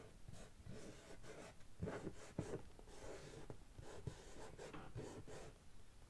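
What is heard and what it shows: Long nails of one hand scratch across the top of a medium, closed, hollow brown corrugated cardboard shipping box. The result is a quiet, uneven rasping with broad, breathy scrapes and a low hollow body resonance. A few sharper scratches stand out from the steady rubbing.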